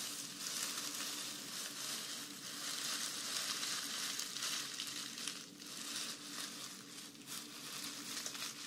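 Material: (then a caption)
Dried grass. A bundle of green grass-skirt strands, made of dried grass or raffia, is gripped in both hands while long nails scratch and squeeze them. The result is a dense, steady, bright crackling rustle with a few brief dips throughout.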